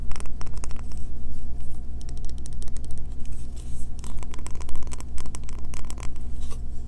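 A solid green bar of soap, held in both hands, is scratched quickly with long fingernails, sending soap shavings falling onto the table. Rapid bursts of dry, crackly scratching come in quick runs over a steady low hum.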